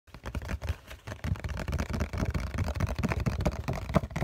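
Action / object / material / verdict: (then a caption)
tap / cardboard tissue box with tissues inside / cardboard / none. Fingertips tap rapidly on the flat bottom face of a COCON printed cardboard tissue box, held in one hand, hollow and with tissues inside. The steady run of soft, dull, hollow thuds is mostly low in pitch and dies away almost instantly after each tap.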